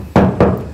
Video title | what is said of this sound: How to use a Stud Finder | that's a hollow wall